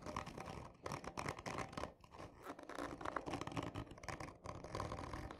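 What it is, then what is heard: Cardboard tube scratched. Long fingernails of both hands scratch hard across the top of a hollow, textured cardboard tube lying on its side with a black end cap. Dense, rasping scratches come in bursts with short lulls between them, carrying a dry papery tone centered around 1 kHz over a low rumble.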